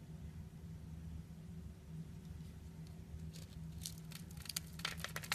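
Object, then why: Bar of soap cut with a blade. A utility knife blade scrapes and cuts small cubes from a solid purple bar of soap with a pre-scored grid, held in the palm. Over a steady low hum, faint scraping gives way to a quickening run of crisp, bright cutting snaps in the second half.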